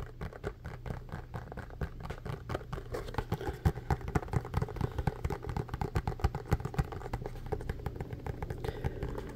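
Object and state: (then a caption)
Plastic ice pack tray. Fingertips and nails tap quickly across the puffy segments of a hand-sized blue plastic molded tray or ice pack with a white frame. The result is a fast, uneven patter of short, dull, low-pitched taps that stop almost instantly, growing somewhat louder and sharper midway through.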